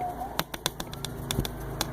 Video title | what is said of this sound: Rattlesnake Bean Harvest | they are still hard. You can, tapping it on the table, you can hear the difference.